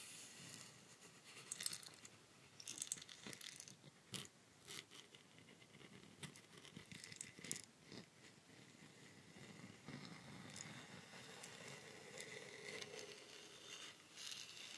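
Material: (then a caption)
Bamboo. A long hollow bamboo rainstick is held up while its surface is scratched and tapped with nails and fingertips. Quiet, bright, crackly scratching runs throughout, broken by sharp, short taps that die away almost instantly.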